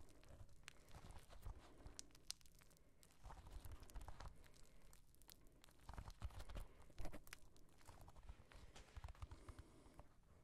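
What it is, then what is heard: Mirror glass disco ball. A small mirror-tile disco ball is held in both hands while fingertips and nails tap and scratch across its glass tiles. Quiet, dense clusters of sharp, dry clicks and brief scratchy bursts sit over a soft low rumble, with a slightly louder flurry of taps around the seventh second.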